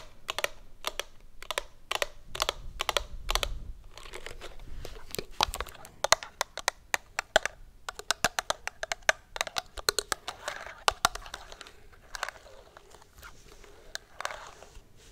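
Long acrylic nails tap and scratch a hollow, medium plastic lotion bottle with a green flip cap, held on its side. Crisp, bright clicks start in a steady rhythm, then turn into quick clusters of taps mixed with soft scratchy rasps. Each tap dies away almost at once, with a light hollow plastic tone.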